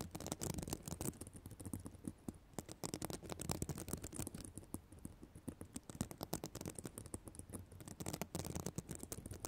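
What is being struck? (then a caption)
Plastic sequin fabric notebook cover. Long black nails scratch across the plastic sequins of a reversible sequin notebook cover. A dense run of quick, soft scratching clicks and rattles is heard, coming in bursts with brief quieter dips. The result is a steady, low, crackling texture with short bright ticks.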